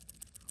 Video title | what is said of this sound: Trident Pro 300 by Christopher Ward is NOT Better Than Casio G Shock Square | it imitates the sound of a popular fishing lure known as a Rattle Trap